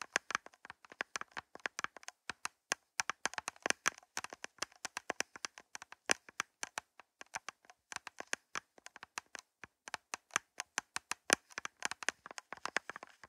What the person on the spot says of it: 1:42 - Nails Tapping On Plastic Cups